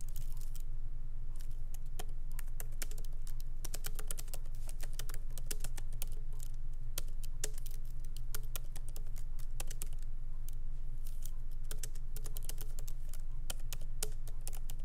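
Fingertips of both hands lightly type on a MacBook Pro laptop keyboard with black plastic keycaps in an aluminum body, resting on a wooden desk. Short, bright key clicks come in a brisk, uneven stream, each dying away almost at once. A steady low hum runs underneath throughout.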